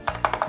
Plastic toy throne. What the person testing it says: il est lourd mais creux